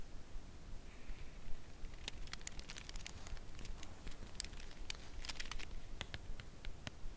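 Long nails tap the front face of a full cardboard chocolate bar box held in the hands. The result is a slow, irregular run of light, dry clicks with brief bright ticks and no ring. The taps sit over a steady low rumble.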